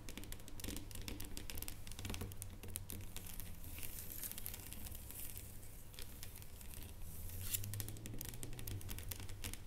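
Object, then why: Dark chocolate bar on foil. A solid dark chocolate bar lying flat on its foil is tapped rapidly with long painted nails. The result is a quiet, dense, uneven patter of crisp, bright clicks and faint crinkles over a steady low hum.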